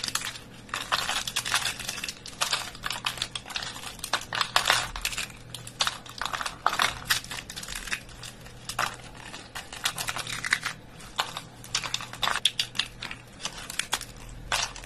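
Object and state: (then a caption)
Dry soap flakes being crushed. A pile of thin, brittle, curled dry soap shavings on a surface is picked up by bare fingertips, and the chips are crushed between the fingers. The result is a steady stream of dense, bright, dry crunching and crumbling crackles, with bursts of louder crunches throughout and a faint low hum underneath.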